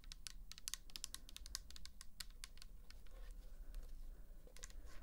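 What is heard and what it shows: Long fingernails on both hands tap a pink plastic toner bottle filled with liquid. The result is a quick, irregular run of sharp, bright clicking taps that stop instantly, over a steady low rumble.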